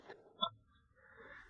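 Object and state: Resonant ringing bell stone.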